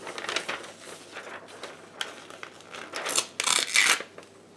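A white paper sheet is torn into pieces by hands in black lace gloves. Bright, crisp tearing and crinkling come in irregular bursts, with the loudest, longest rips near the end.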